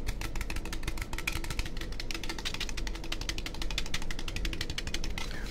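An orange, standard-size, hollow aluminum drink can is held in one hand while the fingers and fingertips of the other hand tap and scratch it quickly. The result is a fast, steady stream of sharp, bright clicks over a low rumble. The clicks give way to a brief scratchy hiss near the end.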